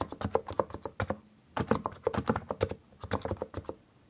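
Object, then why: Mechanical keyboard with plastic keycaps. Fingertips press the keys around Backspace on a compact mechanical keyboard with a white case and grey, purple, yellow and green plastic keycaps, then both hands type. Short, dry, mid-pitched key clacks come in quick bursts separated by brief pauses, each one dying away almost at once.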